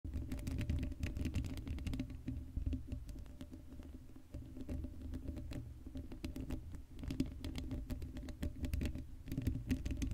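Long light-blue acrylic nails on both hands scratch the bare, hollow black steel mesh grille of a Blue Yeti microphone head with no cover. It makes a dense, rapid, pattering scratch that is boomy and low-heavy with a steady tonal hum, easing to a softer stretch in the middle before picking up again.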